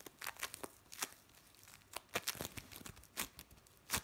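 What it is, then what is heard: Bead play foam. Fingers squeeze, pull apart and rub a soft, solid lump of blue play foam, made of small bonded foam beads, over a metal tray. The result is a quiet series of short, bright crinkling and crackling bursts with little low end, separated by brief near-silent gaps.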